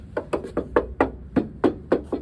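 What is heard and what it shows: About nine short, dry knocks ring out as the welded rocker sill area is tapped on the first side of a 1968 MGB roadster whose rusted sills were repaired about 20 years ago. Each tap is a quick midrange thock that dies away almost at once. The taps sound like solid metal rather than filler, though the extent of the metalwork can't be told.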